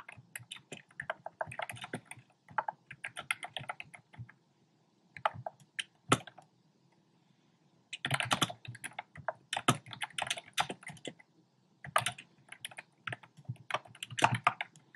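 Fingertips of both hands type rapidly on a compact black plastic typewriter-style keyboard with round plastic keycaps. Quick bursts of sharp, bright, clacky key taps die away almost instantly, broken by two short pauses before the typing resumes.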